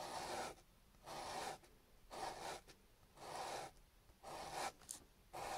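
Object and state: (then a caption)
Raw potato rubbed on sandpaper. A small solid chunk of raw peeled potato, held in the fingertips, is rubbed back and forth on sandpaper, leaving a wet starchy residue. Six separate scraping strokes about a second apart each produce a bright, broadband rasp with a faint tonal edge, divided by quiet pauses.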